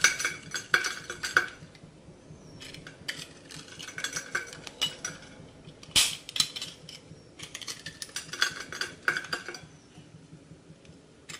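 A utility knife blade, held in a hand with long red nails, cuts and scrapes a small, solid, rectangular bar of dry soap with a rainbow glitter coating, held in the other hand over a glass bowl. Crunchy, crackling cuts and scrapes come in bursts, with bright clicks and sharp snaps where chips break off and fall tinkling into the bowl.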